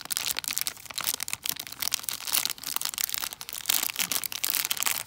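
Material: Cellophane, foil.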